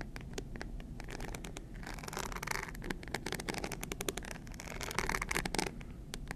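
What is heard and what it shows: A small, hard rhinestone-encrusted clutch purse shaped like a stack of money, likely hollow, is held in both hands and scratched with long green acrylic nails. Rapid, dense scratching and clicking ticks run throughout, with bright, gritty scraping bursts that swell louder in the middle and near the end over a low, steady rumble.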